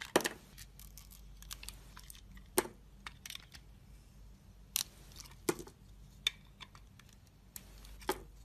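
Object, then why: Bar of soap cut with a metal blade. A metal utility-knife blade slices and carves a solid, rectangular white soap bar with a red glitter edge, held in the hand, and pieces break off. Sharp, bright snaps and crisp cuts stand out over softer scraping and crumbly crackles. A faint low hum sits underneath throughout.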